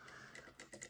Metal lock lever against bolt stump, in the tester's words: if it's in the true gate then it's going to tap